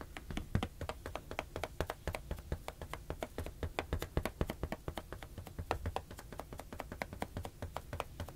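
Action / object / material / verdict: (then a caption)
tap / inflated latex balloon / latex / none. A blue inflated latex balloon, hollow and air-filled, is held in one hand and tapped with the fingertips while being moved between two microphones. The result is a rapid, steady stream of short, dull, hollow taps with a low thump and very little brightness, each dying away almost at once.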